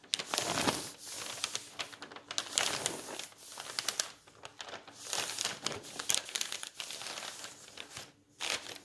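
A flat hand rubs and smooths a page of an open bound volume of old paper magazines, then fingers lift and turn the thin paper. The result is a bright, dense paper rustle and crinkle in quick, uneven bursts with short pauses between them.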